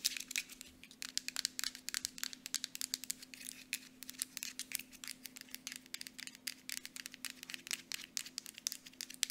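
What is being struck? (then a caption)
Small plastic lotion bottle and cap. Long nails tap rapidly on a small Aveeno plastic lotion bottle, striking both its body and its mint plastic cap. The result is a quick, uneven stream of sharp, bright clicks that stop instantly, over a faint, steady low hum.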